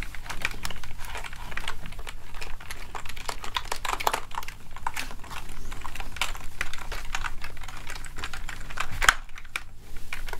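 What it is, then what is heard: Plastic keyboard keys clacking. A plastic gaming keyboard is held vertically while a palm and fingertips rub and press across the keys. A dense, continuous stream of short, bright plastic clacks and rattles runs over a steady low hum.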